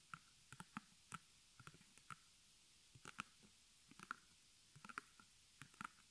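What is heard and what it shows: Fingertips and long nails of both hands tap and scratch the front fabric of a small, square, white stretched cotton canvas on a wooden frame, embroidered with black arrows, held upright and hollow behind. About fifteen short, dry taps and clicks come in irregular clusters with a papery, hollow tone around 1.4 kHz and bright scratchy edges. Each tap dies away almost instantly into a quiet background.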